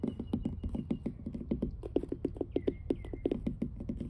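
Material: Wood.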